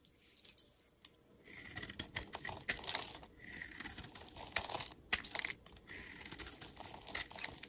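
A metal utility-knife blade scrapes and shaves powdery flakes off the surface of a solid yellow bar of soap held in hand. The scraping comes as quiet, bright, dry strokes with sharp crackling ticks. A faint hiss sits near 2.4 kHz during the longer passes.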